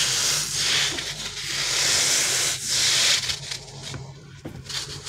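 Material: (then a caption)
Rubber. A green, soft, solid gel-filled rubber crocodile stress toy is pulled long and rubbed between fingers and thumbs. It gives a bright, hissing friction sound that swells in long waves, then turns choppier and quieter toward the end over a faint low hum.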